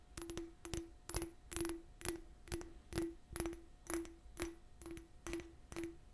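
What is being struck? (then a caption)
Small cut crystal glass cup. Long nails tap and scratch a small, hollow, empty cut-crystal glass cup with a faceted surface, held in both hands. About a dozen quick, evenly spaced taps each carry a bright click with a short, clear ring near 336 Hz that fades quickly. Soft scratching rasps run underneath.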